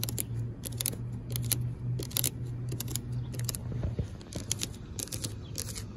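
Long pink nails scratch and tap across the black coated steel mesh surface of an outdoor expanded-metal picnic bench. Quick, bright rasping bursts come in clusters over a steady low hum near 125 Hz.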